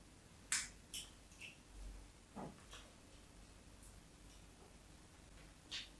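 A craft knife blade scratches thin lines into a solid embossed white bar soap held in the palm. Several short, crisp, high-pitched scratches are heard, spaced apart with quiet low background noise between them.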